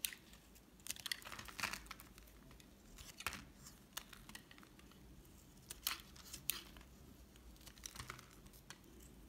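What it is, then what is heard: Bar of soap being shaved. A solid white bar of soap, held in the hand, is peeled into long curls with a red-handled metal utility knife. The result is quiet, dry, bright scraping and scratching, with short crisp bursts spread across the clip over a faint low hiss.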